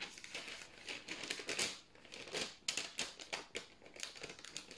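A single thin white parchment baking paper sheet is held in both hands, bent and rubbed between the fingertips. It makes soft, bright crinkling bursts that swell and fade in irregular clusters, with sharper crackles toward the end.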